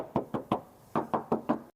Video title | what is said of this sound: SPILL AYLA KUNING X M/T 2022- CITYCAR YANG IRIT | masih kedengaran banget kalengnya